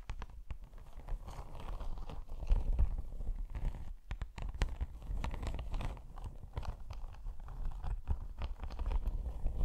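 Long pink nails quickly scratch and tap a padded, iridescent holographic faux snakeskin laptop sleeve, snake-embossed faux leather, held in front of the mic. The result is a dense run of rapid, crisp scratches and short sharp taps over a heavy low rumble, with no ring after each tap.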